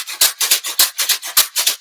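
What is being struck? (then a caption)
Square carton with rice inside. A square carton holding rice, with more rice just added, is shaken back and forth. Six strong bursts of bright, hissy rattle alternate with softer strokes, with almost no low end. The fuller carton gives a bigger, louder shaker sound.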